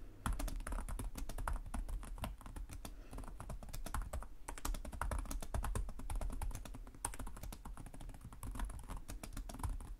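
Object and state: Laptop keyboard typing.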